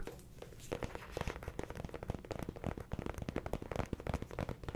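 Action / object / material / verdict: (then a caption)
tap / paperback book with cardstock cover / cardstock / none. Fingertips tap quickly on the cardstock cover of a small, solid yellow paperback affirmations book held up in one hand close to the mic. The result is a fast, uneven patter of soft, dull, muffled thumps with light papery crinkle and hardly any ring.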